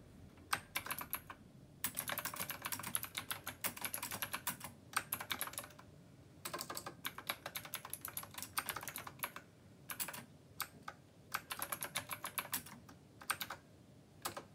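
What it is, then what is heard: Mechanical keyboard typing. A black plastic retro mechanical keyboard with round copper keycaps and blue backlight is typed on rapidly by fingertips. The keystrokes come as quick, crisp clicks with a bright top, arriving in dense bursts separated by brief pauses.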